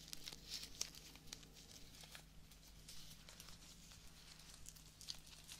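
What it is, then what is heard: Fresh rose petals being torn. Fingertips and nails pluck and tear the remaining petals from a single small live rose with a green stem and leaves, its bloom already partly stripped, and rub the leaves. The result is quiet, rapid, bright tearing and crisp rustling over a steady low hum.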